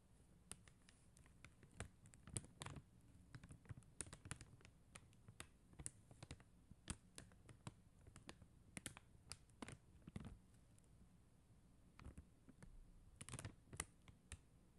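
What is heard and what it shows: Long acrylic nails tap rapidly on a flat sheet of clear and blue plastic rhinestone stickers on a white backing. The result is a steady stream of quiet, short, dry clicks in irregular bursts, each dying away almost instantly, over a faint low hum.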